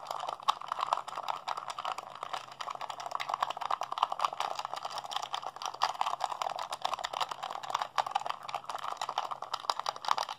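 A hollow blue plastic PlayStation 3 handheld controller is held in both hands while fingertips and thumbs rapidly mash its buttons. The result is a dense, continuous stream of short plastic clicks and clatter, concentrated in the midrange with some brighter ticks, at a steady level throughout.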